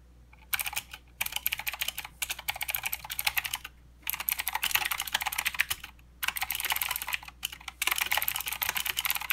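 A plastic mechanical keyboard with clicky blue switches and plastic keycaps is typed on continuously by the fingertips of both hands. Bright, sharp clicks come in rapid bursts, separated by brief pauses. A faint low hum runs underneath.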